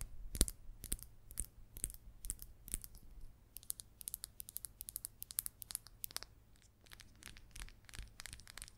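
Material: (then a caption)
Resin. A solid green number 6 pool ball made of hard resin is held in the hand and tapped and scratched with long acrylic nails. Quick, sharp clicks and bright scratching strokes come in rapid, uneven bursts, each dying away almost instantly, over a low steady hum.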